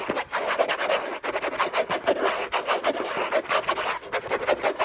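Fingertips and short nails scratch and rub hard and fast across the textured surface of a large, flat, hollow orange Hermès cardboard gift box lid. The result is a dense, continuous rasping with quick, uneven bursts and a papery, hollow resonance around 650 Hz. There is almost no low end and a thin bright hiss on top.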